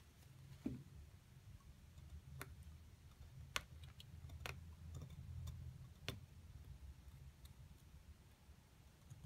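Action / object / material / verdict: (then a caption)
scrape / plaster excavation block scraped with a metal pick / plaster / none. A thin metal pick scrapes and chips at a solid white plaster dig-kit block carved with hieroglyphs, loosening crumbly chunks while the other hand, with long nails, steadies the block. Short, bright ticks and clicks sound over a steady low rumble, each dying away almost instantly.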